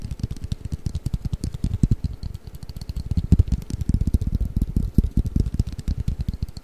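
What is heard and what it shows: A hollow, long flat cardboard Mikado pick-up sticks box is held flat above the microphone and tapped rapidly with fingertips and nails. It gives a steady flurry of soft, deep, hollow thuds with a light bright ticking on top, each tap dying away almost at once.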